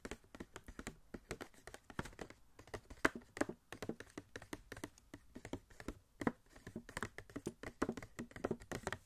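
Fingertips tap rapidly and irregularly on a small, hollow cardboard Wasp Funko Pop box with a clear plastic window and the figure inside. The soft, dry taps are short and quiet with a hollow, low-mid knock, and they die away almost instantly.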